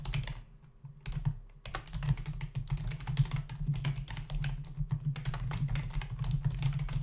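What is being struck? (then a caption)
Plastic membrane computer keyboard. Fingertips of both hands type rapidly on a black plastic membrane desktop keyboard with hollow key caps. Quick, dry clicks run together over a steady low hum, with a short pause before the typing picks up again.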